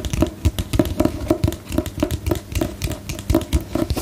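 Long nails tap a solid book with a glossy paper cover held upright, producing about twenty quick, uneven taps over four seconds. Each tap is a short, dry, hollow thud with a low-mid tone near 320 Hz and almost no ring.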